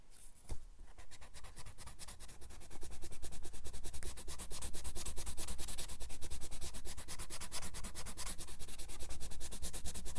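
A white or light-colored pencil rubs in short, quick strokes over a red apple drawing on grey paper in a spiral-bound sketchbook lying flat on a wooden desk. It makes a dry, scratchy rubbing that starts soft, then grows louder and steadier after about two and a half seconds. A brief low thump comes near the start.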